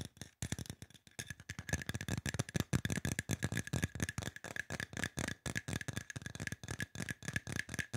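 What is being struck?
Aluminum spray bottle.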